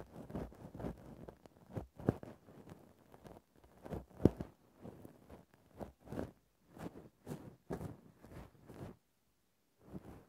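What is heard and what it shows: A grey faux-fur microphone windscreen is gently scratched and poked with a thin bamboo ear-pick. Close, soft, muffled scratching and rustling strokes repeat unevenly, sometimes with sharper taps. The sound is mostly low and mid, with little brightness, and stops in a few brief silences.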